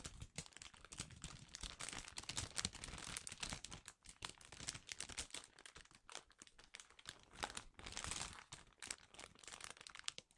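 A large, flexible printed plastic Chipsticks multipack snack bag, filled with smaller packets, is held in both hands above a cash register and crinkled and rubbed with the fingers, then lifted up at the end. Dense, bright crackling and rustling continue throughout in quick, dry bursts with very little ring. The sound briefly drops quieter near the middle and swells again toward the end.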